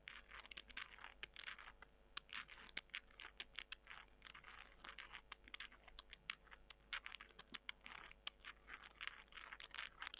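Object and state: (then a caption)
Dried soy chunks. Long nails scratch and squeeze small, dry, porous soy chunks. The result is a steady run of crisp, crunchy scratching and crackling with sharp bright clicks. The sound is quiet and close, with almost no low end.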